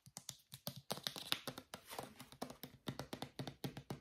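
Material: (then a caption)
Plastic. A small white plastic Head & Shoulders travel shampoo bottle, hollow and filled, is tapped with fingernails and fingertips while held upright and sideways. The result is a quick, irregular run of short, dry plastic clicks and soft thuds with bright, crisp edges that die away almost instantly.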